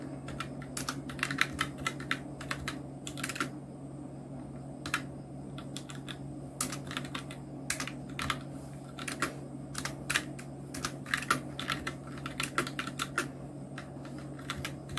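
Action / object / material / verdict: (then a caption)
tap / plastic mechanical keyboard / plastic / none. Fingertips of both hands type steadily on a full-size black Nubwo Illution NK-70 mechanical keyboard with Outemu red switches, round plastic typewriter-style keycaps and blue backlight, resting on a white desk. Quick, soft plastic clacks come in an uneven rhythm, each dying away almost at once, over a steady low hum.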